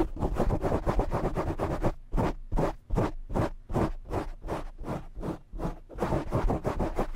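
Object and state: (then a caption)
Foam microphone windscreen. Short nails quickly scratch a black foam windscreen on a desk microphone with both hands. Rapid, dense rustling scratches slow into separate rhythmic strokes midway, then speed up again. Each stroke has a heavy low rumble under a bright, noisy hiss.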